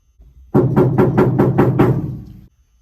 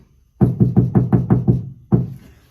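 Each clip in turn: First: undamped steel truck cab panel that rings. Second: steel cab panel with sound deadening, dull thud.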